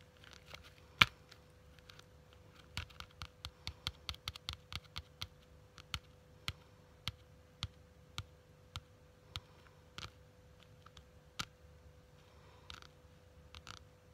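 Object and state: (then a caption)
Faux leather quilted wallet tapped with long nails. Long nails tap and scratch the stitched surface of a small pink quilted faux leather wallet, giving about 22 sharp, bright clicks with almost no ring. Faint scratchy rustles run between the taps, over a steady low hum.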